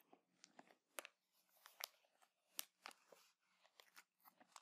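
A clear plastic bag full of cotton buds is held in both hands, squeezed, crinkled and scratched with painted nails. It makes quiet, bright, dry crackles and crunches in irregular bursts, each dying away almost at once, over a faint low hum.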